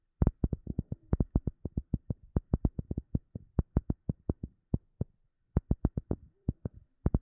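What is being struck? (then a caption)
Rubber sheet. A rubber sheet is tapped in a quick, uneven run of short, dull taps, each dying away almost at once. The taps are deep and soft, with most of their energy in the low end and no bright edge, and they pause briefly about five seconds in before starting again.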